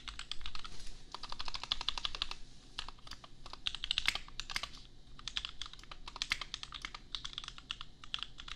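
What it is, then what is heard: Plastic mechanical keyboard. A custom 60% mechanical keyboard, priced at $250, with Gateron Milky Yellow switches and red and white plastic keycaps, is typed on with the bare fingertips of both hands while resting on an anime desk mat. The result is steady, rapid typing made of short, crisp plastic clacks with a bright peak around 2 kHz, each dying away almost instantly, over a soft low rumble.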